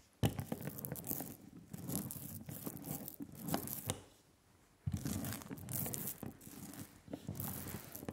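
Thick black relief printing ink spread on a flat glass slab is rolled back and forth with a hand-held rubber brayer, making a sticky, tacky crackling roll. Two stretches of continuous crackling are separated by a brief quiet pause near the middle.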